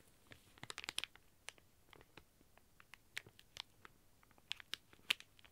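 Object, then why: Plastic packaging bag. A sealed, flat plastic packaging bag with a squishy inside lies on a table while a flat hand presses it and fingertips and nails scratch and crinkle the plastic. The result is a quiet run of sharp, bright crinkles and scratchy ticks that stand apart from a soft hiss, with almost no low end.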